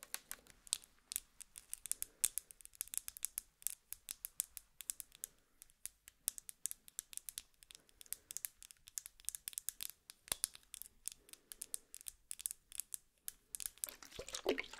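Long nails rapidly tap and scratch a small clear glass serum bottle with a silver metal cap and a little liquid inside, held upright between both hands. The result is a quiet, dense stream of crisp, bright clicks and scratchy ticks with almost no ring or low end.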